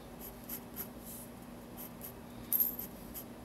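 A fine-tip pen inks lines on the white paper page of a spiral sketchbook, scratching lightly across the paper. Soft, bright scratching strokes come and go over a low, quiet background, with the firmest strokes near the end.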